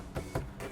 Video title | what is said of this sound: 2018 Volvo XC60 - Daily News Autos Review | the glovebox is hard feels hollow